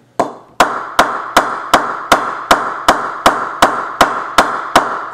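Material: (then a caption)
Willow. A solid willow cricket bat with a sticker on its face, held upright, is knocked 13 times on the face with a wooden mallet at a steady pace. Each knock gives a sharp, woody ping centred around 1 kHz that rings briefly before the next strike.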